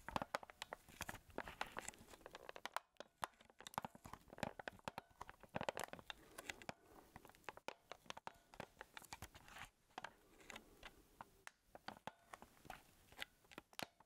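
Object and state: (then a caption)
Plastic camcorder casing. Fingertips squeeze and rub the hollow casing of a small black plastic Sony handheld camcorder held up in both hands. The result is a quiet, dense stream of sharp crackles and crunchy clicks, spread from low to bright, with a few brief pauses along the way.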